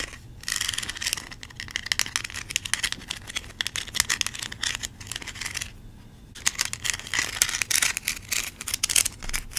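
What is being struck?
Plastic toy corn cob.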